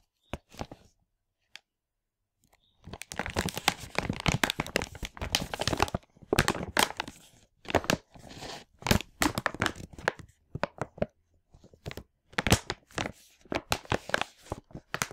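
A large printed plastic LEGO packaging bag full of parts is held in both hands while fingers crinkle and pull at it, possibly starting to tear it. A few sharp crinkles open the clip, then after a short pause come dense bursts of bright crackling, tearing and crunching plastic. Quieter gaps separate the later rustles.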